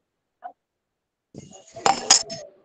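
A steel tumbler is tapped three times with a steel spoon, each strike giving a bright, high-pitched metallic clink that fades quickly. Softer low rustling and faint background noise are heard between the taps.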